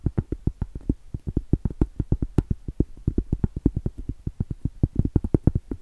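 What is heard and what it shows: Very long stiletto acrylic nails tap and scratch the top of a round, flat, solid cork trivet about 20 cm across, held horizontally. About forty quick, dull, low taps come in a steady rapid patter, each dying away at once with no ring.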